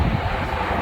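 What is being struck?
Nothing is struck.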